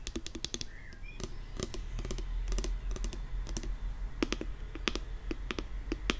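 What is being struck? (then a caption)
Plastic pump bottle with liquid. Long nails tap quickly and irregularly on the pump top and body of a pink 175 ml plastic nail polish remover pump bottle filled with liquid. Each tap is a short, bright, dry click with almost no ring, heard over a steady low hum.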